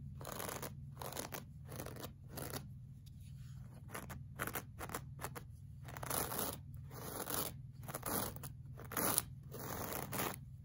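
The bristles of a pink plastic brush are scraped back and forth across a flat, solid, beige looped-pile woven rug. Each stroke makes a dry, scratchy rasp with a bright, hissy edge, in a steady rhythm over a constant low hum. The sound stays quiet throughout, with a few slightly louder strokes.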